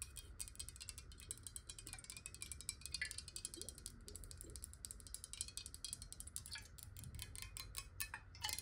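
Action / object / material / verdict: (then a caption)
tap / glass bottle partly filled with water / glass / none. Long nails rapidly tap and scratch along a clear square glass water bottle with a ridged base, held sideways and partly filled with water. A dense stream of quick, bright, high clicks with very short ring rides over a soft low rumble, with occasional scratchy scrapes between taps.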